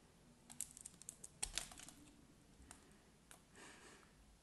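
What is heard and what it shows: A solid, scored cream soap bar held in the hand is cut and scraped with a craft knife blade. Sharp, bright clicks and crisp scraping bursts come in a quick cluster through the first two seconds, then a few sparser ticks and a softer hissing scrape near the end.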